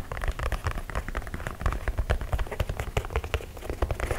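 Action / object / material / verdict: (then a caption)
tap / leather sneaker / leather / none. Fingertips tap the leather toe box and side of an empty white low-top leather sneaker held close to the mic. A quick, steady patter of soft, dull, low-heavy taps follows, each dying away almost at once, like rain on a surface.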